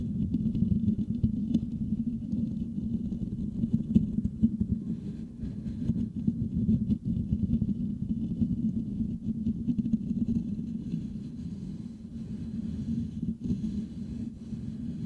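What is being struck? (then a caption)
Metal mesh microphone grille. Fingertips of both hands scratch the hollow metal mesh grille of a Blue Yeti microphone. They produce a dense, continuous rumbling scratch centered low around 220 Hz, with faint bright crackle above. It holds steady for the full fifteen seconds with only slight dips in level.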